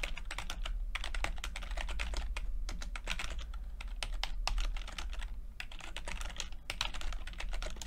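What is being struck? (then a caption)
Plastic computer keyboard. Fingertips of both hands type continuously on a full-size plastic computer keyboard with red and blue backlit keys and low-profile keycaps. Rapid, overlapping, bright clicky taps run throughout over a steady low hum.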